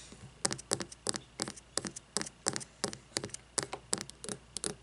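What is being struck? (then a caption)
Frosted glass candle jar filled with wax. A frosted glass candle jar filled with wax lies on its side and is tapped with long fingernails on its labeled glass bottom and side. Quick, dry, bright clicks come in short clustered bursts at a loose, steady pace over a faint background hiss. Each tap dies away almost instantly with no ring.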